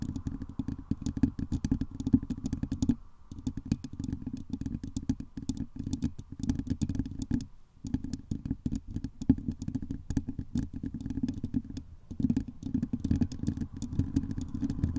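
Long glittery acrylic nails on both hands rapidly tap and scratch the hollow woven metal mesh dome grille of a large condenser microphone. The result is a dense, continuous stream of short, dry clicks and scrapes over a heavy, muffled low-end thump. The rhythm pauses briefly near 3, 7.5 and 12 seconds.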